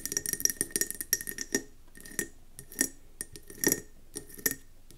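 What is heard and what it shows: Long nails tap quickly on a round, speckled gold mercury glass candle jar filled with wax, resting on a table. A rapid flurry of bright, glassy clicks opens the clip, then gives way to sparser taps and short bursts. Each click dies almost instantly, with a faint steady tone lingering around 2 kHz between hits.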